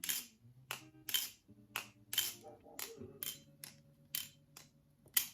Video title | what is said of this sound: Reaper Review Blackbalisong Reaper | this is hella dry, but the fact that it's crisp, but it's also making that little ring sound